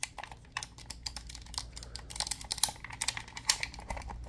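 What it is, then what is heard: Plastic game controller buttons. A black, hollow plastic Xbox-style controller is held in both hands close up while fingertips rapidly press and tap its face buttons. The result is a fast, irregular run of bright, dry plastic clicks that stop instantly without ringing, over a faint low steady hum.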